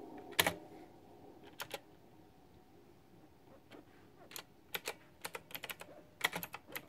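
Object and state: Plastic mechanical keyboard being typed on.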